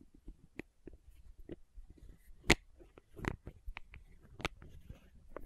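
Long nails tap and scratch the red plastic cap of a small labeled plastic condiment bottle. The result is a quiet run of sharp, dry clicks and brief scraping ticks with bright edges. A few taps stand out louder than the rest.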